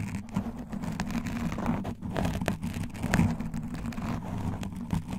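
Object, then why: Foam microphone windscreen. Both hands with long nails and claw rings grip and scratch a black foam windscreen on a microphone in a steady scratching motion. The sound is a dense, muffled, low rumbling rustle with almost no bright content, running continuously with small soft bursts throughout.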